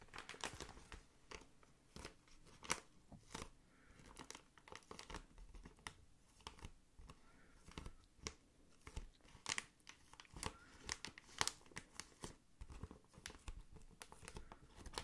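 A hand squeezes and crinkles clear plastic air-column packaging, an air-filled tube held up close. Quiet, dry crinkling runs throughout, broken by sharp, bright crackling snaps that stop instantly, with a faint low rumble underneath.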